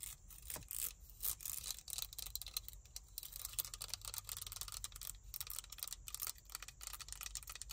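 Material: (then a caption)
Plastic. Long nails tap and scratch the ridged teeth of a small, hollow black plastic claw hair clip. The result is a quiet, steady stream of bright, crisp clicks and scratchy rasps that die away almost instantly, over a faint low hum.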